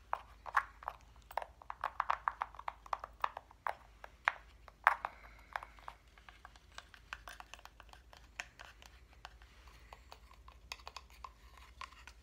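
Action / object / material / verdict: tap / flat wooden reindeer cut-out / wood / none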